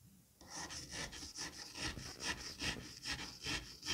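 A hand scrapes and cuts across the surface of a flattened mass of green kinetic sand with a white-handled metal scalpel. After a brief quiet start, there is a steady run of rhythmic, bright, gritty rasping strokes, about two per second, like fine sawing.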